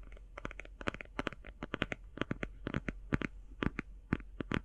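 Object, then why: Cardboard eyeshadow palette. Fingernails tap and scratch fast on the cover of a closed, hand-sized cardboard eyeshadow palette. About two dozen short, dry clicks and scrapes come in quick bursts, each dying away at once, over a steady low hum.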